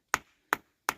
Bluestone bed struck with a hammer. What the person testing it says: now you can hear that. That don't sound that good.